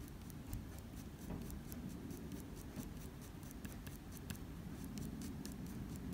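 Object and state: Pencil strokes on drawing paper.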